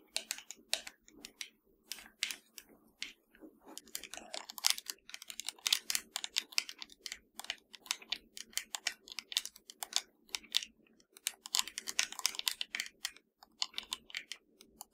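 Long nails tap and scratch a hollow black plastic PS4 controller, turned to show its top edge. The result is a dense run of quick, dry, bright clicks and scrapes with almost no ring and no low end, under a faint steady hum.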